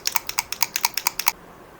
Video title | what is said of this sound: [ENG] New ESTEE LAUDER Double Wear Foundation 1W2 Sand Review | When you shake this, it has this rattling sound.